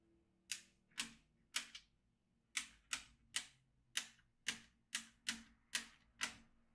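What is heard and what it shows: A yellow magnetic pen is traced across the middle of a black plastic magnetic drawing tablet filled with steel beads, making the beads click. Thirteen sharp, bright clicks sound at an irregular pace, each decaying quickly over a faint low hum.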